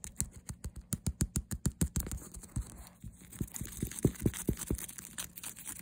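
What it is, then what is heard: Faux leather handbag. Fingernails tap and scratch fast on the smooth leatherette front panel of a hollow faux leather handbag with a stitched cross and a "Sweet Girl" print. A quick run of dull, low thumps opens the clip, then gives way to hissy scratching mixed with sharper taps.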